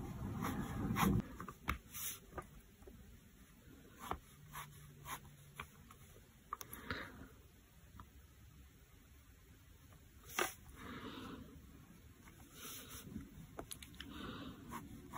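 A fine-tip black pen, held in the fingers, scratches short repeated hatching strokes across a flat sheet of white sketchbook paper resting on a desk. Quiet, dry scratching strokes come in an irregular rhythm, with a few sharper ticks and bright scraping bursts. Near the start there is a louder low rustle.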